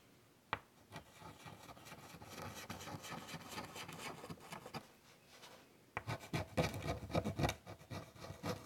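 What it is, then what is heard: Chalk on a chalkboard. White chalk makes short, scratchy strokes on a large wood-framed chalkboard. After a sharp tap near the start, a steady run of quick, dry rasping strokes follows, then a brief quieter lull before a louder, denser burst of scraping strokes.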